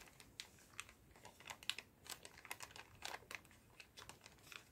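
A clear plastic zip bag full of paper-stick cotton swabs is held in both hands, squeezed and shaken. The swabs rattle and the plastic crinkles in a quiet, irregular run of short, dry, bright clicks and crackles with almost no low end.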